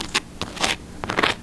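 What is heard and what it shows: Freshly baked no-knead focaccia with rosemary and caramelized onion, just out of the oven, crackles as its crust is handled. Five short, dry, bright crunches are heard, showing a very crispy crust.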